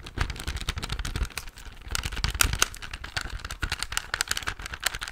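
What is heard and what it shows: A silver plastic desk calculator is held in the hand while fingertips and nails rapidly tap its keys and body. The result is a dense stream of short, dry plastic clicks and taps with a bright clatter and a low thumpy undertone, each hit dying away almost instantly.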